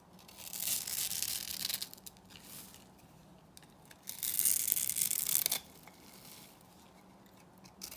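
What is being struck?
Bar soap scored into cubes, scraped with a small metal blade.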